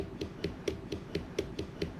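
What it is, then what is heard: Watermelon tapped to judge ripeness. A whole watermelon is tapped with one hand while the other hand holds its opposite side, checking ripeness by the vibration felt through the fruit. Nine evenly spaced, dull, hollow thumps are heard, each with a low pitch and a very short ring.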